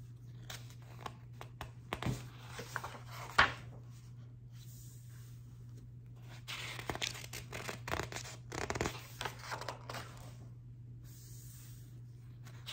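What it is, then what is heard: Paper book pages scratched. Long acrylic nails on a flat hand rub and scratch the printed paper pages of a large open hardcover book lying on a table. Soft papery scratches and rustles come and go, with a couple of sharper nail clicks early on and a denser stretch of brushing strokes in the middle. A steady low hum runs underneath throughout.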